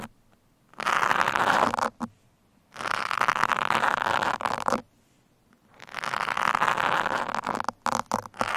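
Steel pins are scratched along the sides of a black foam microphone windscreen and then poked into its top. Three long stretches of dense, crackly scratching, centred in the midrange with a bright edge, are separated by silence. The clip ends with several short, quick bursts.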